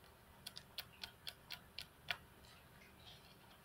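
Long fingernails of both hands tap on the flat, solid glass tabletop of a computer desk. Eight sharp, bright clicks ring out over about two seconds, each dying away almost instantly, the last one the loudest. A faint, steady hiss continues underneath and after the taps.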